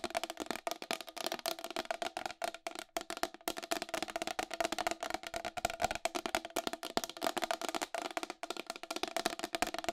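Long acrylic nails tap fast on the rim and face of a round white plastic wall clock, about 25 cm across, with a hollow case. The taps are a rapid, steady stream of sharp, dry clicks with a hollow tone around 740 Hz and a bright edge. They have almost no low end and no ring after each strike.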